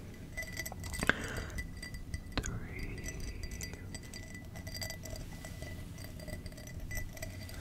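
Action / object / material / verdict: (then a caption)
tap / cut glass tumbler / glass / none. A small, hollow, empty clear glass tumbler with a textured cut pattern is tapped and handled close up with fingertips and nails. It gives short, bright clinks with a ringing tone near 1.6 kHz that dies away almost at once. The clinks sit over a steady low rumble, with some faint speech.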